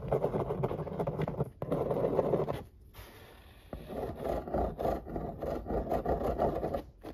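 A marker pen tip quickly traces and scratches over the printed illustration on a large, flat corrugated cardboard pizza box lid. The result is a dense, rapid, dry scratching and scraping with a papery mid-range texture, broken by a brief pause and a quieter stretch around the middle before the strokes resume.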